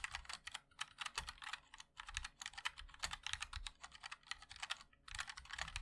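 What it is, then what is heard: Mechanical keyboard with plastic keycaps. Fingertips of both hands type continuously on a compact 60% MOD-L mechanical keyboard with a black case, white and black plastic keycaps and linear switches. Rapid, bright, clacky key taps come in quick bursts with very short decay and brief pauses between runs.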